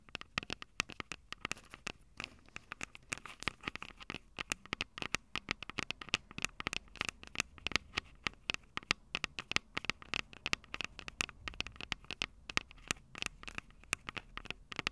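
Long purple nails rapidly tap and scratch the tops of the two silver metal mic capsules on a Tascam DR-05 handheld audio recorder. The result is a dense, steady stream of sharp, bright clicks and crackly scratches with almost no low end. Each tap dies away instantly, with no ringing.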